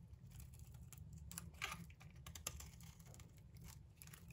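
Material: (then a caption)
Soap. A palm-sized solid olive green soap bar, held in the hand, is shaved with a metal utility knife blade, producing long curled shavings. Soft, crisp scraping and light ticking cuts sound over a quiet, steady low rumble, with a couple of brighter, sharper scrapes standing out near the middle.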